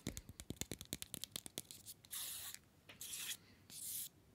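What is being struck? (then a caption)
Small chocolate bar in a paper wrapper. A small solid chocolate bar in an orange paper/card wrapper is held upright between the fingers and tapped and scratched with the fingernails of the other hand. About two seconds of quick, dry, sharp fingernail taps are followed by three longer, bright, hissy scratching strokes across the wrapper.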